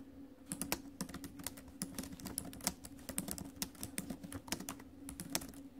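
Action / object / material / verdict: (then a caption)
tap / laptop keyboard, plastic keys in a metal body / plastic, metal / none. Fast typing on the plastic keys of a silver metal laptop, tapped with fingertips and acrylic nails, gives a rapid run of short, bright, dry clicks. A faint steady low hum runs underneath.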